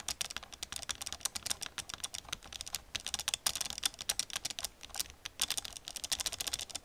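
Long nails tap and type on the keys of an old black plastic computer keyboard. A rapid, uneven run of sharp, bright plastic clicks with almost no ring, sometimes clustering into quick bursts and brief pauses.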